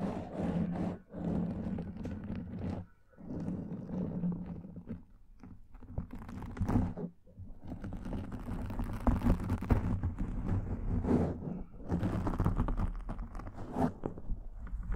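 Fingertips and nails scratch and press against a black foam microphone windscreen. The result is a close, muffled, low rumbling crunch that comes in dense, continuous bursts broken by a few brief pauses.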